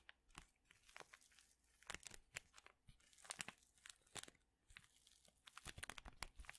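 A small printed paper and foil tea envelope is crinkled and scratched with the fingertips and nails. Quiet, bright crinkling and scratching are broken by many short, sharp crackles that stop dead with no ring.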